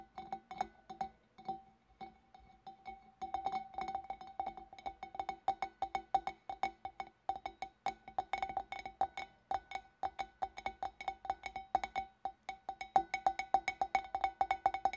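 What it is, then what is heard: Empty glass fish bowl. Long dark nails tap along the wavy rim and neck of a large, empty, hollow clear glass fish bowl with both hands. Quick, light clinks repeat in an uneven, accelerating flurry, each with a short ringing tone near 770 Hz and faint bright overtones.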